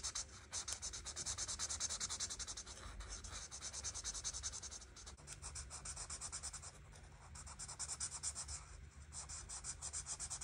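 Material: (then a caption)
Paper. A marker tip scratches and rubs over a flat paper coloring book page, coloring the petals orange and red. Soft, bright, hissing strokes run almost continuously at a low level, with a brief dip around the midpoint before the rubbing resumes.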